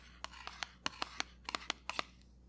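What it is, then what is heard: Cardboard box tapped. A small, square, dark grey Cover FX pressed powder box made of printed cardboard is held close up and tapped and scratched with fingertips and nails. Eleven short, sharp, bright taps sound with very little ring, over soft scratching and a low steady hum.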